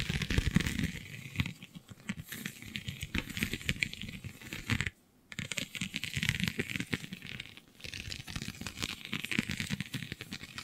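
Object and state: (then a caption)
Holographic scale vinyl sheet. Long glittery nails scratch and pinch across a flexible, iridescent holographic plastic/vinyl sheet covered in raised scale-like bumps. The result is dense, crackly scratching and crinkling with bright high rustle over soft low thumps, broken by a brief silent pause around five seconds before the scratching resumes.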